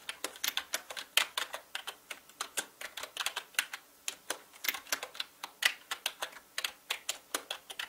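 Fingertips type fast on a full-size black mechanical gaming keyboard with plastic keycaps and a hollow plastic body. It makes a quick, steady run of dozens of sharp, bright clacks with almost no low end, each click dying away at once.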